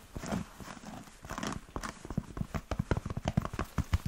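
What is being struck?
Leather Chelsea boot.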